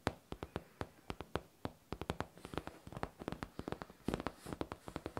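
Long nails tap and scratch the hollow, smooth curved top of a pink faux leather backpack. Around thirty short, dry taps with almost no ring come in quick, uneven bursts, with soft scratching between them. The taps sound hollow and low-weighted, with little bright content.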